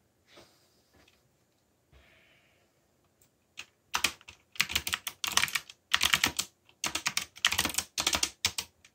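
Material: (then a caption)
Plastic. Fingertips type on the plastic keycaps of a backlit black plastic mechanical keyboard. A few faint, soft taps open the clip, then dense bursts of rapid, bright, clacky keystrokes follow with short pauses between runs.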